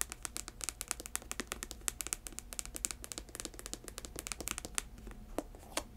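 Long nails scratch the leather-and-synthetic upper and the ridged thick sole of an empty white chunky sneaker. The result is a quiet, dense stream of sharp, dry scratches and clicks that are bright and high-pitched, over a faint low hum.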